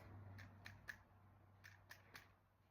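Six light percussion taps on the back of a human chest wall over the lung and diaphragm, struck down the back at full exhalation during a diaphragmatic excursion test, with a steady low hum underneath. The note turns from resonant to dull at the diaphragm level, marking the spot for an excursion gap of about 3 cm, a normal finding.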